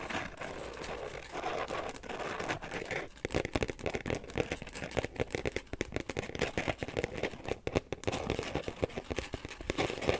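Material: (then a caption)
Plastic. Fingernails tap and scratch the inner surface of an empty carbon fiber pattern phone case, then move to its woven back. The clip is a dense run of quick, dry clicks and scrapes, with the scratching mostly in the mid range and a few sharper taps poking out above it.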